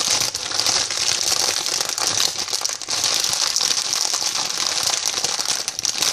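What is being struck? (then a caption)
Plastic sweet packet. A hand-sized white "I love sweets" plastic packet filled with sweets is rapidly tapped and scratched with long painted fingernails and crinkled in both hands. This makes a continuous, dense, bright crackling crinkle with quick ticking taps and almost no low end. It stays at a steady level, with only brief dips.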